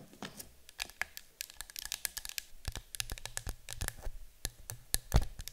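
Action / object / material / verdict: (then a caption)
tap / small metal candle tin filled with wax / metal / none. A small, cylindrical, yellow-green printed metal citronella candle tin, hollow and apparently filled with candle wax, is held and then stood on a table while being tapped and scratched with long acrylic nails. A dense run of quick, crisp clicking taps and light scratchy scrapes follows, each tap dying away almost instantly, over a faint low hum.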